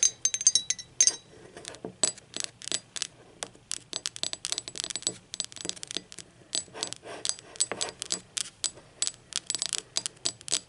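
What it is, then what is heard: Ceramic mug tapped with fingernails. Long acrylic nails tap quickly on a hollow, speckled teal ceramic mug lying on its side, moving between its glazed wall and its unglazed base. Dozens of sharp, bright clicks come in uneven bursts, each dying almost instantly with a faint high ring and almost no low end.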